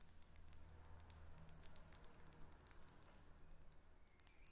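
Long red acrylic nails tap and scratch a Gucci Bamboo perfume bottle held in the hand, a thick faceted glass body partly filled with liquid and topped with a silver cap. Quick, bright, dry clicks and faint scratching patter on continuously over a quiet, steady low hum, with each tap dying away almost instantly.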